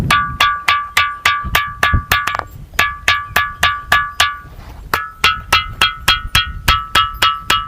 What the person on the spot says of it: या दगडांमध्ये घंटेच्या नादासारखा आपल्याला या ठिकाणी आवाज येतोय घंटेचा जसा निनाद होतो तसा निनाद या ठिकाणी आपल्याला ऐकायला येतो